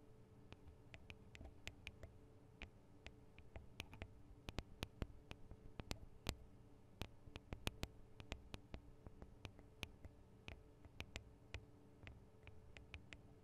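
Long acrylic nails tap the small hollow metal microphone capsules, with their metal guard wings, on a Tascam DR-40 recorder. Dozens of quiet, sharp, bright clicks come in an irregular rhythm, each dying almost instantly, over a steady low hum.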